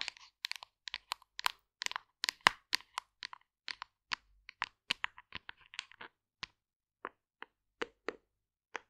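A hollow white plastic vegan fiber supplement tub with a label has its sides tapped and scratched with long nails. About 26 quick, dry, bright clicks and crackly scratches come in irregular bursts, each dying away at once. A faint tone sits near 1 kHz beneath the clicks.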